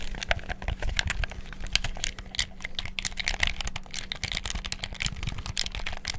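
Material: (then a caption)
Plastic. Fingertips rapidly click the buttons and sticks of a black hollow plastic gamepad. A dense, uneven stream of short, dry plastic clicks with a bright crackle peaks around 3 kHz, over a low steady hum.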